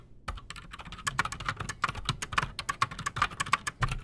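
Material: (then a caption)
Plastic. Both hands type fast with their fingertips on a solid, full-size black Redragon Shrapnel K589 mechanical keyboard with Outemu Silent Sky switches and Razer PBT plastic keycaps, resting on a desk. About two dozen quick, muffled clacks run together in an uneven burst. Each keystroke is a short, dry tap with a soft low thump under it and almost no ring.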